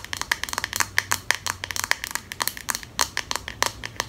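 Long nails rapidly tap and scratch the flat handle and spine of a pink solid plastic comb held horizontally. The result is a quick, uneven string of sharp, dry, bright clicks with a tone near 1.8 kHz, each dying away almost instantly, with faint scratchy rustle in between.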